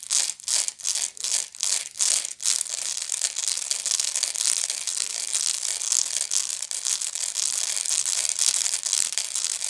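Long nails scratch the woven side of a medium, hollow woven straw bag. A few quick separate strokes are followed by steady, continuous scratching. The sound is a dry, bright, crinkly rasp with almost no low end.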